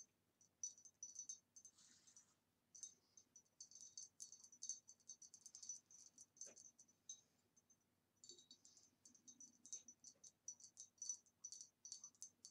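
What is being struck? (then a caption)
Glass vase. Fingernails tap quickly on a green retro glass vase with a swirly pattern, from about the 1960s. Bursts of bright, clicky taps each carry a short high ring, with two brief pauses between runs. The vase gives a very nice tapping sound.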